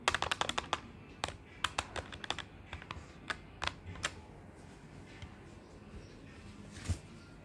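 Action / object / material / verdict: tap / plastic desktop calculator keys / plastic / none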